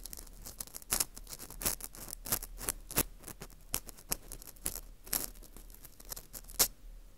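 An orange plastic earpick scrapes inside the hole of a porous dried wheat gluten ring (fu) held in gloved hands. The result is a steady stream of quick, dry, bright scratching and crackling strokes with no ring-out, rising into sharper sparkling scrapes now and then.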